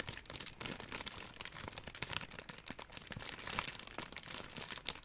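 A large, bundled sheet of clear plastic bubble wrap with hollow air bubbles is squeezed and crinkled with both hands. It makes a steady stream of dense, bright crinkling with many sharp, quick crackles and snaps. The sound is mostly high-pitched, with very little low end.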